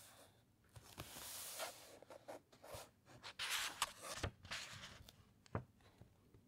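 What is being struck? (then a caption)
Thick paper pages of an encyclopaedia. Fingertips and long nails rub and scratch across the printed thick paper pages of a large open encyclopaedia. Quiet, bright, dry rustling strokes rise and fall, broken by short sharp ticks and scrapes with almost no ring.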